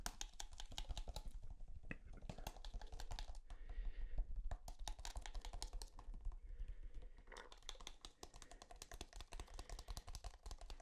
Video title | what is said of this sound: ASMR Tapping On EVERYTHING | never really thought about the material that tubes of toothpaste are made of but like this thick plastic it's kind of unique